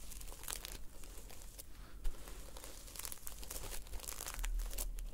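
Long painted nails scratch and brush the red reversible sequins on the cover of a closed notebook. The result is a steady run of dense, crinkly rustling with bright scratchy bursts, over a constant low hum.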